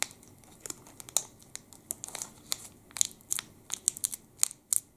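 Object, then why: Plastic candy bar wrapper. A full plastic wrapper of a Sport chocolate bar is held in both hands and crinkled with the fingertips. Quick, bright crinkles and crackles come in irregular bursts over a quiet background. They carry almost no low end and stop sharply without ringing.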